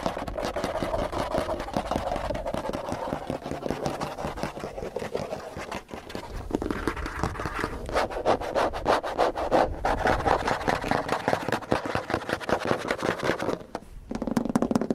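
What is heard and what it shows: Fingernails and fingertips scratch and tap a long, dark grey textured plastic trim panel running along the lower side of a white car door's solid body panel. A dry, continuous scratching rasp fills the first half. It gives way to quick, uneven runs of light, dull taps that stop briefly near the end before the scratching resumes.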